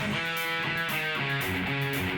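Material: Nothing is struck.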